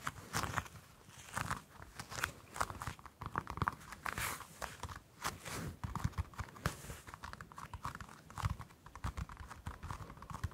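Long acrylic nails scratch and tap the dimpled peel of a whole orange held in both hands. The result is a dense, irregular run of soft crackly scratches and quick dull taps with some brighter edges, each sound dying away almost instantly.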